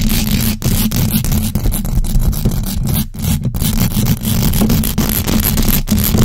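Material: Metal mesh.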